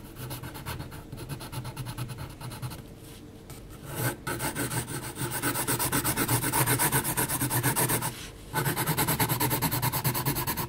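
A pencil's graphite point scratches across the grain of a flat sheet of heavy textured mixed media paper in dense, rapid hatching. The result is a steady run of short, rasping strokes that grows louder after the first few seconds, with two brief pauses in between.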